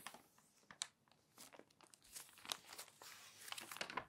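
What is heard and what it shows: Fingers flip and crinkle the pages of a thick, open glossy paper magazine. Soft, bright crinkling and papery rustles come in quick bursts, with a few sharp, crisp snaps. The sound is quiet with almost no low end.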